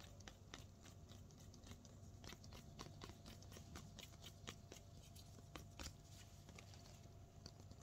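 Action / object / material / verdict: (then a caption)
tap / snake plant leaf / plant leaf / none. Fingertips with painted nails tap and scratch one thick, firm, solid green-striped leaf of a potted snake plant. The result is a quiet, steady run of quick, dry clicks and scratchy ticks with brief bright snaps, set over a soft low rumble.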